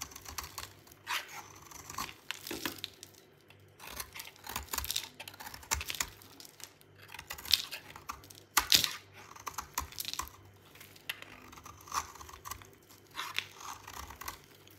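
A hand-held solid white bar of dry soap, held in a hand with painted nails, is shaved and scraped with a metal utility knife blade, sending crumbly flakes falling off. Dry, bright, crisp scratching and crunching comes in short irregular bursts over a quiet, faint background.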